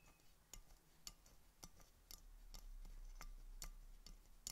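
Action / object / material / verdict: tap / glass soda bottle / glass / none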